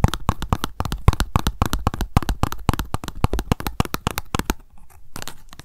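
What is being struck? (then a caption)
Cardboard card tag. Long nails rapidly tap and scratch on a small pink printed cardboard tag lying flat. The dense, dry, irregular clicking has a low thuddy body, and it eases into a quieter, softer scratching near the end.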